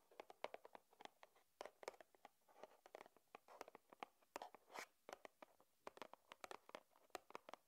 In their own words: 5:20 Tapping on carton box